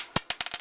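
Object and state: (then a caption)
Zinc penny, flat dull sound. A zinc penny is dropped and bounces, making three sharp clicks followed by a quick run of smaller ones. The sound is bright and dies away almost at once, with no ring, giving the flat sound of a zinc penny.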